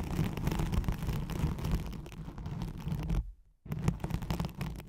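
Long nails scratch quickly across a thin white hook-side nylon hook-and-loop velcro sheet laid over a microphone. The result is a dense, rapid, rough scratching with a heavy low rumble, which stops briefly for about half a second near the end before resuming.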